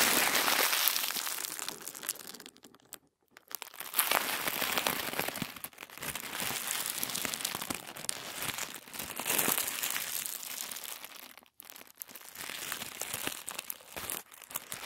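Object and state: Thin tissue paper being crinkled.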